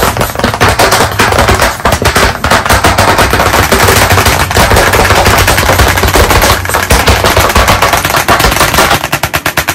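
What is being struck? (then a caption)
Wood-framed chalkboard tapped with chalk sticks. White chalk sticks held in both hands rapidly tap and dot on a solid, medium, flat black chalkboard panel in a wooden frame. The result is a dense, steady, loud rattle of sharp clicks with a low thud underneath, almost like a rapid-fire burst. Toward the end the taps become slightly more spaced.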